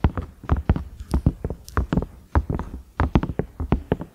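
Fingernails tap the round knob and ridges of a large cream ridged silicone microwave lid in quick, uneven bursts. Each tap is a short, dull, low thud with a soft click and almost no ring, and about twenty taps fall in close succession.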